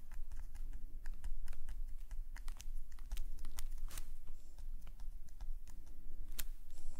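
A metal nib pen scratches rapid short strokes across a black paper sketchbook page lying flat. Quick, bright, dry scratches and ticks overlap in an irregular run over a steady low rumble.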